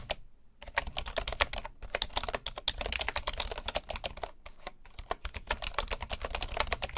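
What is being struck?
Bamboo wooden keyboard.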